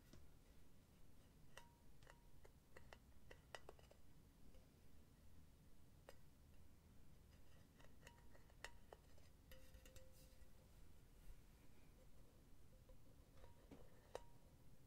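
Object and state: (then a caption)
Metal mesh pen holder tapped. Long painted nails tap on the flat, round metal bottom of a hollow silver mesh pen holder. The result is quiet, sharp clicks and tinny clinks at an uneven pace, some leaving brief faint ringing tones around 500 Hz and 1 kHz, over a steady low background rumble.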